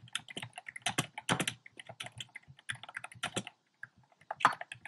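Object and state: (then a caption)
Plastic mechanical keyboard. Fingertips type fast and densely on a compact plastic mechanical keyboard with round pastel plastic keycaps set in a dark frame. Quick, sharp, bright clicks and clacks run in clusters with almost no ring. There is a brief pause near the end before a final burst of keystrokes.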